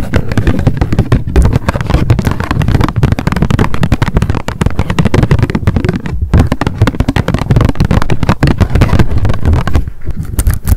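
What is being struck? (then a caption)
Spiral-bound paper notebook with card cover. A small pink m.memo spiral-bound paper notebook with a card cover is held in the hands and tapped rapidly with long decorated acrylic nails. The result is a dense, continuous stream of quick, dull, low-heavy taps with a short decay and little high-end brightness.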